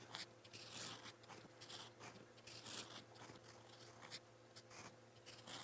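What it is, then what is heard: Pen nib scratching on a notebook page. A gold-toned metal fountain pen nib scratches across a lined white page of a spiral notebook while writing in purple ink. Bright, dry scratching strokes come in quick uneven bursts over a faint, steady low hum.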